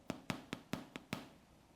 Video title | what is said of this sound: Aprenda a fazer o delicioso PAN AMASADO Chileno (Pão Amassado) - Chef Silvia Nicolau | você pode bater no pãozinho e ele tem que fazer um som de oco